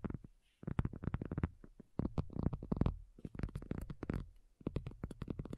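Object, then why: Faux leather folding tablet cover. Long nails on both hands tap and lightly scratch a thin, hollow-backed black folding faux leather iPad cover lying flat. Bursts of quick, soft, low, hollow tapping, layered with faint scratching, come in clusters separated by brief silent pauses.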